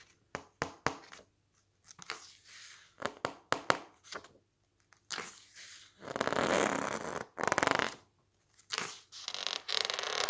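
Fingertips flip and press the thick glossy pages of a large softcover cookbook lying open on a stack of magazines. Quick, sharp paper flaps and crinkles come first, then longer, brighter rustling swells as the pages are pressed and squeezed, all with little low end.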